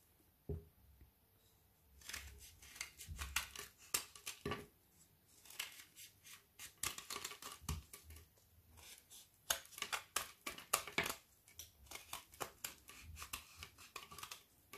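A metal knife scrapes shavings from a small remaining strip of frozen solid Milka milk chocolate bubble bar held in the fingers. A soft low knock opens a run of quick, bright, crackly scraping strokes that come in bursts with brief pauses. Each stroke dies away almost at once.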